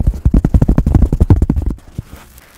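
Fingertips tap and scratch the surface of a solid, hand-sized white block of polystyrene foam held close to the microphone. A quick run of twelve dull, low, muffled taps blends with soft scratching, then it stops at about 1.8 seconds and leaves only faint, scattered rustles.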